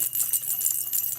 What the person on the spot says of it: you shake it it rattles